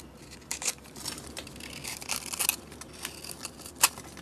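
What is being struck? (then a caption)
Bar of soap scraped with a metal blade. A metal blade scrapes flakes off a solid purple, grid-scored bar of soap held in the hand. Soft, bright, crisp rasps and crackly scrapes come in short bursts over a quiet background. A sharper scrape stands out near the end.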